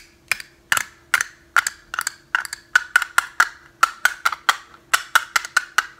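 A small, hollow, teal and green plastic box-shaped snap case is held in both hands while the fingertips click it and tap it open and shut. About two dozen sharp, dry clicks come at an uneven pace, each with a brief hollow tone around 1.3 kHz that dies away almost instantly. A faint, steady low hum runs underneath.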